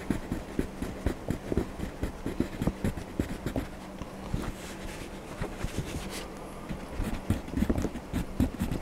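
A hand colors Donald Duck's shirt in an open paper coloring book lying flat, using a blue wax crayon in repeated back-and-forth strokes. Each stroke is a short, dry scratch of crayon on paper, with the sound weighted toward the low end and little high brightness. The strokes come in a steady, uneven rhythm over a quiet background.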